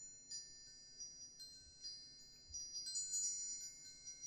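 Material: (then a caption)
Aluminum. A hanging wind chime with hollow aluminum tubes and a wooden sail disc is held up by its string and shaken by hand, so the tubes ring. The tubes strike at an uneven pace, producing bright, high, sustained metallic tones that overlap and shimmer at a quiet level.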